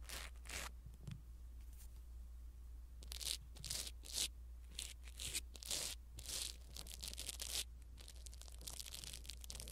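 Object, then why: Foam microphone windscreen. A blue silicone-bristle ear pick brushes over a small black foam windscreen on a pin microphone. It makes quiet, bright, crackly scratching and rustling strokes in uneven bursts over a steady low hum.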